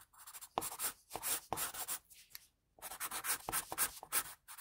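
An HB wooden pencil shades hair on a white sheet of drawing paper with repeated strokes, the graphite scratching across the paper. The strokes come as quick, bright, airy rasps with almost no low end, grouped into bursts separated by a brief pause midway.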